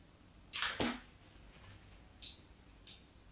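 A metal craft knife, held against a solid white bar of soap, scratches diagonal lines into its surface. Two loud, bright, crisp scrapes come close together, followed by fainter, shorter strokes spaced apart over a quiet background.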